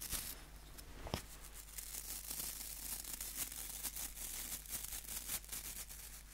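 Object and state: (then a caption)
Wooden nail brush with plastic bristles. Fingertips scratch the white plastic bristles of a small, solid wooden nail brush held close to the microphone. The result is a quiet, bright, crackly scratching made of short, quickly fading bursts that repeat irregularly over a steady low hum.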